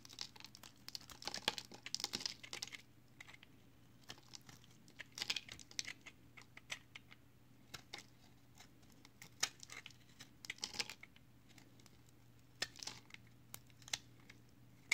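A utility knife blade cuts and scrapes the edge of a solid multicolored recycled soap-chip bar held in the hand. The result is quiet, bright, crisp crackling and crinkling scrapes, with bursts of sharp dry ticks and short pauses between them, over a faint steady low hum.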